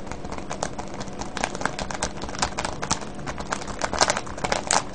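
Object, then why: Clear plastic cellophane bag of wrapped candies. Fingertips squeeze and crinkle a full, clear plastic cellophane bag of wrapped candies. The result is a steady run of dense, crackling rustles, with sharp, bright crinkle bursts standing out over a low, rumbling base. The loudest snaps come near the end.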